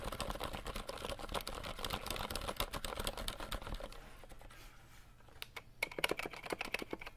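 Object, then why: Plastic mechanical keyboard keys. Fingertips tap quickly on the plastic keycaps of a compact 60% RGB mechanical keyboard that is held and tilted, making a dense, fast run of sharp, dry clicks with a bright edge for about four seconds. The tapping then thins to a quieter patch before separate, sharper clacks return near the end, each stopping almost instantly with no ring.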